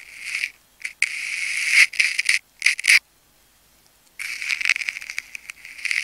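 A metal craft knife blade slices and scratches into a palm-sized solid ball of wound clear and pink adhesive plastic tape held in fingers. Bright, crackling scraping bursts, centered around 2 kHz and reaching high, come in several separate runs with silent gaps. The last run is a longer stretch of crisp, ticking scratches.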